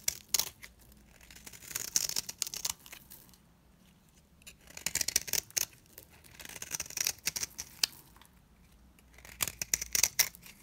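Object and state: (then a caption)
Dry bar soap shaved with a blade. A blade shaves thin curls and flakes off the face of a round, cream-colored, solid dry bar of soap. Crisp, bright scraping and crackling come in three bouts separated by quiet pauses. The sound is dry, with almost no low end and no ring after each stroke.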